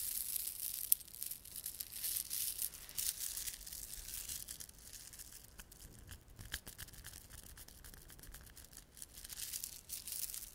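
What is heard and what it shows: A small clump of plastic garland with glossy, solid dark blue and silver beads and red spiky plastic fringe is held in both palms while fingertips rub and squeeze it. Dense, bright clicking and crinkling rustles throughout, with a sharp click near the start and a softer stretch in the middle before it builds again.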